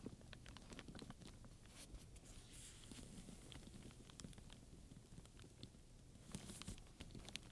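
Fingertips and long nails rub and scratch the surface of a black pebbled leather handbag covered in many domed chrome metal studs, while a wooden pointer taps between the studs. The result is a quiet, steady bed of low scratchy rustling broken by many quick, dry, bright clicks and ticks that stop almost instantly.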